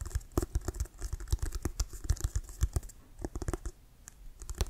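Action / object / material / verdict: tap / leather-covered American football / leather / none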